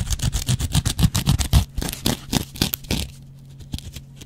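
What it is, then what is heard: Dry cellulose sponge scraped with a razor blade. A metal double-edge razor blade scratches and scrapes a dry, hand-sized yellow cellulose kitchen sponge with a scouring pad. About twenty quick, rough strokes come in a fast, uneven rhythm, each a short burst of bright scratchy rasp over a dull low thump. After about three seconds the strokes die away into a few faint, quieter scrapes.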